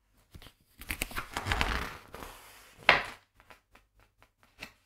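Fingertips of both hands turn and flip the glossy printed paper pages of a large hardcover illustrated book lying open on a wooden table. Bright, papery rustling swells as the pages slide, then a sharp page flap stands out before a few soft, separate paper taps.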